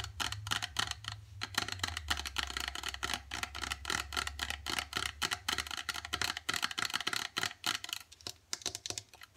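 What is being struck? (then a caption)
Plastic squeeze tube. A partly filled gold plastic face-mask squeeze tube with a white cap is tapped and scratched with long dark acrylic nails. The result is a rapid run of sharp, bright plastic clicks and ticks with brief scratchy strokes, each dying almost instantly, over a faint low hum.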